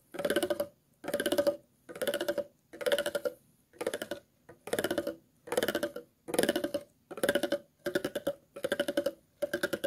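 A thin metal tool is scraped repeatedly along the grooves of an empty, hollow, ridged clear plastic water bottle. About a dozen short strokes with brief pauses between them each produce a quick run of hollow, ratcheting clicks. The clicks have a mid-pitched plastic tone with bright edges.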